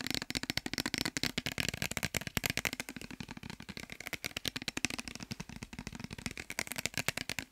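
Fingernails tap rapidly on a clear glass bottle with a white cap and some liquid inside, held in the hands, while it is also shaken. The result is a fast, steady stream of short, bright, dry clicks that stop instantly with no ring.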